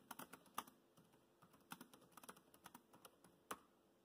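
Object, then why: Plastic laptop keyboard keys. Fingertips type on a laptop keyboard with black plastic keys, making about seventeen short, dry, quiet clicks with a few sharper, louder taps. Each click is bright and dies away almost instantly, with little low end.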